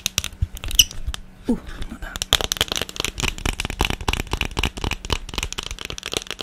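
An empty blue silicone ice cube tray with hollow cells is held up and tapped fast on its underside with long painted nails. The result is a rapid, dense run of short, bright clicks and taps with almost no ring, mostly high-pitched, with a dull low thump under some strikes.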